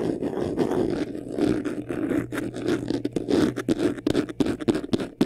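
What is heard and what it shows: Short nails scratch quickly across the front face of a medium white vanity case, a hollow box covered in textured faux leather. The result is a dense, continuous rasping scratch with a warm low-mid body and little brightness, pulsing with the rapid strokes and growing choppier toward the end.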